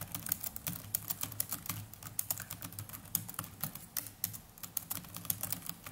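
Fingertips of both hands type continuously on the plastic chiclet keys of a small black netbook keyboard. The result is a rapid, steady stream of short, bright clicks that die away almost at once, over a faint low hum.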